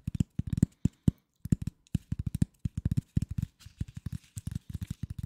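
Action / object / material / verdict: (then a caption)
tap / corrugated cardboard sheet / cardboard / none. A flat piece of corrugated cardboard, held near the microphone, is tapped and scratched with fingernails and fingertips. It gives a quick, uneven run of dull, low thumps that stop dead, with faint papery scratching between them.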